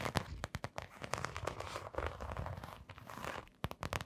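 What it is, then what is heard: Canvas sneaker with rubber sole. Long nails scratch and tap a canvas sneaker with a blue glittery fabric upper and a brown rubber sole. The result is a rapid, crackly series of short, dry clicks and scrapes with a soft, low-heavy body. The taps come in uneven bursts and die away almost instantly.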